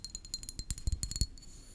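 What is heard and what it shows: A small glass perfume bottle, partly filled with pink liquid and topped with a glass cap, is held in the hand and tapped and scratched with long painted fingernails. It gives a quick run of sharp, bright clicks and taps that die away almost at once, over soft low thuds, with a faint high glassy tone under the taps.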